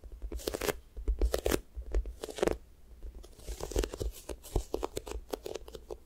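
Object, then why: Soft foam squishy toy with sticky skin. Long nails and fingertips press, tap and peel at a pink square toast squishy toy made of soft, solid foam with a sticky skin. Quick tacky crackles and crunchy peeling sounds come in dense bursts with bright, sharp edges over a soft low rumble. Quieter stretches of gentle sticky ticking fall between them.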